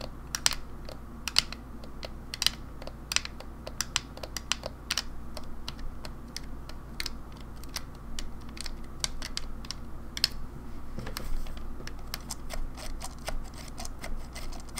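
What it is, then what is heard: Plastic game controller tapped with nails. Long nails tap on the front shell and coloured buttons of a grey, hollow plastic Nintendo 64 controller held upright in both hands. The result is a quick, irregular run of short, bright clicks that die away instantly, over a steady low hum.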